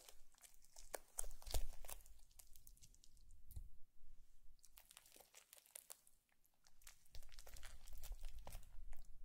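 A thin green plastic stick pokes and drags through a long blue foam bead slime strip resting on a white plate. It makes quiet, irregular crunchy crackling and crinkling pops with bright, sharp clicks over soft low thumps, easing to a brief lull near the middle before building up again.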